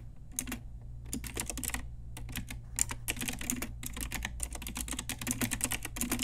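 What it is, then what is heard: Plastic mechanical keyboard. Long nails and fingertips type steadily on an Ajazz pink retro typewriter-style mechanical plastic keyboard with round plastic keycaps. The result is rapid, bright plastic clicks and clacks in uneven bursts with short pauses, over a steady low hum.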